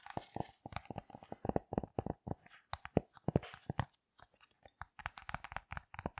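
A thin, rainbow heart-shaped silicone push-pop fidget toy with hollow bubbles is held in both hands and pressed and tapped with fingertips and long red nails, popping the bubbles. About forty quick, soft, dull pops and taps follow in an irregular stream, with a brief pause around four seconds. Each sound is short and dry with almost no ring.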